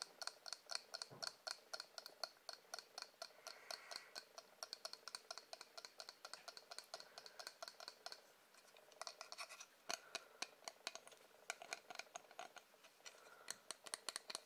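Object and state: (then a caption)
Wooden object. Fingers tap rapidly on a wooden object, making quiet, crisp clicks with a bright, scratchy edge and almost no ring. The taps run in uneven bursts with a short lull partway through.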